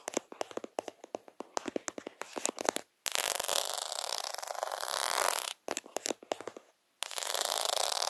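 A plastic faux pearl sticker sheet with half-pearl beads rests over a camera while fingers press and scratch the beads quickly, briefly covering the lens. Rapid, dry, bright tapping clicks give way to a dense, rushing scratching texture, then a few more quick taps, a short silence, and a final burst of scratching.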